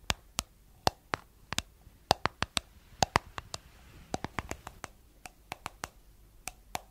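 Long nails tap and scratch the white plastic lid and sides of a round, hollow, palm-size jar with a blue body. About 26 sharp, dry clicks come in an uneven rhythm, each with a hollow tone near 770 Hz and a bright edge that dies away almost instantly. Faint scratchy rustling fills the gaps between taps.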